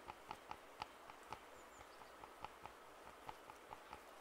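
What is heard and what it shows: Fingertips tap the earcups of white and black plastic over-ear headphones held in both hands. The result is a quiet, uneven string of short, dry clicks with a hollow tone around 840 Hz. Each click stops almost instantly over a faint steady hiss.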